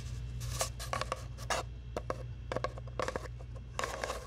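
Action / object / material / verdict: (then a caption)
tap / cardboard tube / cardboard / none. A long, hollow brown cardboard tube, held across a microphone, is tapped and scratched with long nails in a quick series of short, dry taps and scrapes. The hollow tube gives a resonant tone around 530 Hz that dies away almost at once, while the scratches add brighter hiss. A steady low hum runs underneath throughout.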